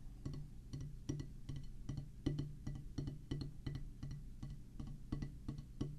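A flat oval drum practice pad with a black rubber surface on a solid pressboard/wood base is tapped slowly with the tip of a single wooden drumstick. Each tap is a short, dull thud with a low body around 145 Hz and a faint bright click, dying away quickly. The taps come at a loose, uneven pace throughout.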